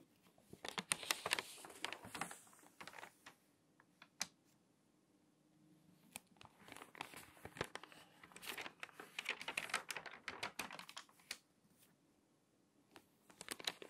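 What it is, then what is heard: Glossy paper magazine. An open glossy paper magazine is handled as long nails tap and rub its pages and the pages are turned. Bright, crinkly paper rustles and sharp clicking taps come in bursts, separated by quiet pauses.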